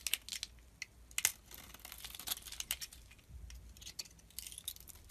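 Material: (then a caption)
Soap. A utility knife blade scrapes and shaves thin flakes off a solid oval blue glitter soap bar, now mostly cream-colored inside, held in the hand. The result is a quiet run of short, crisp, bright scraping and crackling strokes, uneven in rhythm, with almost no low end or ring.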